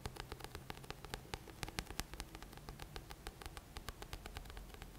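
Fingertips and short nails tap and scratch the glossy paper front cover of a thick, solid paperback book held upright. Rapid, crisp clicks with bright, short ticks sound over a steady low hum and faint background hiss.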